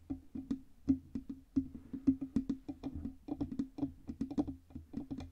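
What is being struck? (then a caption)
Metal microphone body. Long red nails tap quickly on the hollow metal body and stand of a black Blue Yeti USB microphone with a side knob. The result is a steady run of about 29 short, dry knocks, each with a brief hollow ring near 266 Hz that dies away almost at once.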